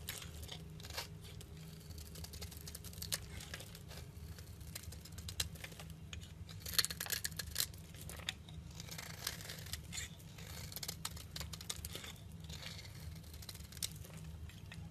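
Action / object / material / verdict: scrape / bar of olive oil soap shaved with a metal blade / soap / none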